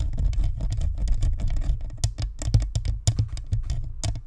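Long nails scratch the sides and top of a white spherical Blue Snowball USB microphone, a hollow plastic shell with a metal mesh grille, then both hands cup it and scratch. The result is a dense, continuous scratching and rubbing with a heavy, boomy low rumble, broken by quick, bright tapping clicks.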